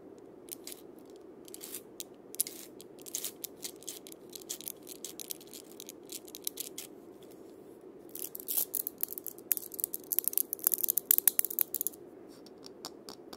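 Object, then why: Wooden cabasa with steel bead chains. A wooden cabasa with steel bead chains is turned and rotated by its wooden handle while a hand presses on the beads. It makes quiet, bright, dry rattling and scraping clicks. The rattling grows denser and louder in bursts from about 8 to 12 seconds.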